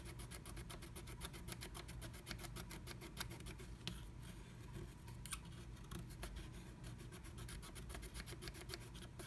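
A wooden stylus scratches a black-coated scratch art card under a blue stencil, filling in the letter O. Rapid, steady strokes make quiet, bright, dry scratching ticks over a constant low hum near 59 Hz, with a few louder scrapes standing out.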